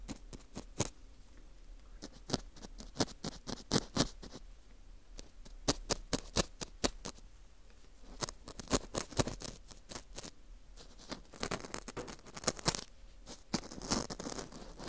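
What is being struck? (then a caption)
Dried wheat gluten fu ring scraped with a metal hook. A metal dental scaler hook scrapes inside the center hole of a dry, porous ring-shaped slice of dried wheat gluten fu. It gives a stream of short, crisp, bright scratching clicks in irregular bursts, with quieter gaps between and a denser rustle of scraping toward the end.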